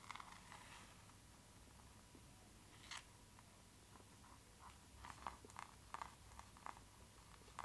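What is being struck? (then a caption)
Hardcover book with laminated board cover. A closed hardcover book with a glossy laminated printed board cover is held upright in the hand, turned from back cover to front, while long nails tap and scratch the cover surface. Short, crisp clicks and light scraping sounds stand out over a quiet background. The taps are clustered mostly in the second half.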